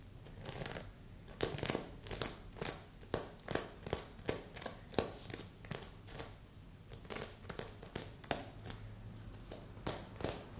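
A long nail scratches across a stuffed red and silver sequin heart pillow with a ribbon loop. Repeated quick, bright, crinkly scratching strokes rise and fade at a soft, close level over a faint low hum.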